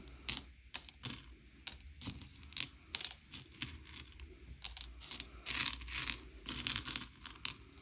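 A pile of small, hard, sugar-shelled M&M's candy-coated chocolates on a grey plate is sorted by colour as fingertips slide and push the candies around. Quick, bright clicks and clatters ring out as the shells knock together, each tick short and dry over a faint low hum.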